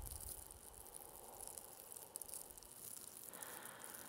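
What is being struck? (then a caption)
Plastic mesh hair rollers. Two small hollow blue plastic mesh velcro hair rollers are held close to the microphone, scratched with long yellow fingernails and rubbed with fingers. The result is a quiet, steady, bright crackly scratching with faint low rumble underneath, shifting to a smoother midrange rubbing near the end.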